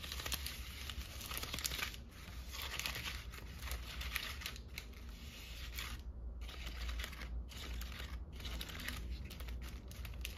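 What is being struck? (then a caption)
Pleated paper lantern. Long nails scratch and tap the pleated paper of a flattened red-and-white polka-dot paper lantern with a hollow centre ring, held in both hands. The result is a continuous, dense crinkling and scratching with quick, bright taps. A steady low hum runs underneath throughout.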